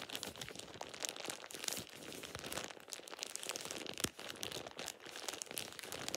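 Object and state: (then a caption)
Thin plastic shower cap being crumpled. A thin light-green plastic shower cap is crumpled and scrunched between fingertips and nails. Dense, bright crinkling and crackling goes on throughout, with sharp snaps rising out of the steady rustle and almost no low end.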